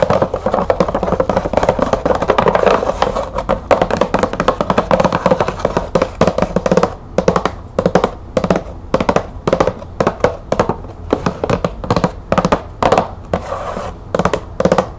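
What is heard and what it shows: Long nails tap rapidly on the top of a green cardboard bulb box with a clear plastic window and bulbs inside. The taps are dry, hollow clicks centered in the midrange around 580 Hz with very short decay and little high-end brightness. They run as a dense continuous patter for the first half, then break into short quick bursts separated by brief pauses.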